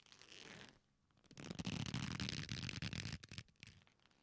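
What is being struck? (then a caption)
Leather belt. A black leather belt, a flat solid strap folded into loops, is squeezed together by both hands. It gives a short soft rub, then after a brief pause a dense stretch of low creaking and rubbing that trails off into a few fainter rubs.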